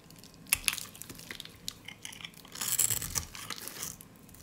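A solid, dry, peach-colored soap bar held in the hand is shaved with a snap-off utility blade, producing crumbly shavings. Crisp, bright scraping and crunching clicks come in short bursts, with a denser, louder stretch of crunching toward the end.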